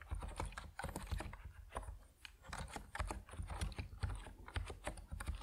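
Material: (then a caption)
Plastic. Fast fingertip typing on a compact plastic Epomaker NiZ Plum Atom 68 mechanical keyboard with white and purple PBT keycaps produces a steady stream of short, dull keystrokes. The clacks are deep and muted, with most of their weight in the low end and only faint bright tick on top, each dying away almost instantly.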